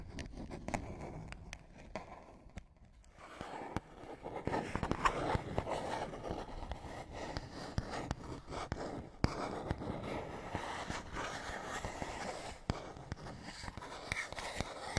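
A small, hollow printed paperboard box is held at the side and scratched with fingernails. This produces dry, irregular scraping and scratching with brief sharp ticks. There is a short quieter lull near the start before the scratching picks up again and continues steadily.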